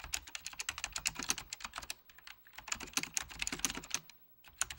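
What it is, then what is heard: Plastic computer keyboard with mechanical switches. Fingertips of both hands press and tap the mechanical key switches of a full-size beige plastic Apple Extended Keyboard II under red-blue lighting. Quick, bright, clacky keystrokes come in rapid bursts, with brief pauses around the two-second mark and near the end. Each click is sharp and dies away almost instantly, with very little low end.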